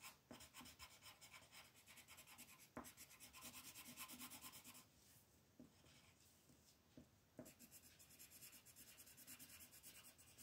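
A pink colored pencil is rubbed in short, quick strokes along the left edge of a flat white paper mandala coloring sheet resting on a table, with the other hand resting on the paper. It makes a fast, steady, bright scratchy rasp. Midway the strokes ease to a softer hiss with a few light taps, then the quick scratching resumes.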